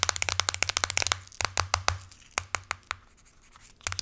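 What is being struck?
Aluminum smartphone back.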